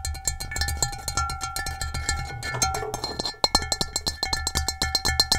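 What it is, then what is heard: Ceramic bowl tapped with fingernails. Long acrylic nails and fingertips tap and scratch the rough base of an upside-down, hollow, empty gray stone-textured ceramic bowl. Rapid, bright clicking taps ring with steady high tones over a soft low thud, with a brief scratchy rasp in the middle. Each tap dies away almost at once.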